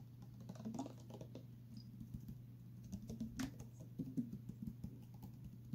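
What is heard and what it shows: A clear plastic water bottle with a straw inside is tilted and tapped with nails and fingertips, giving quiet, rapid, dry clicks and light patters that stop almost instantly. A steady low hum runs underneath throughout.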